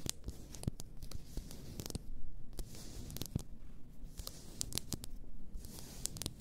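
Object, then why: Glass bottle of bath salts. Long nails tap and scratch the glass sides of an upright, full glass bath salt bottle. Sharp, bright clicks cut through a steady, low, rough scratching texture, with each tap dying away almost instantly.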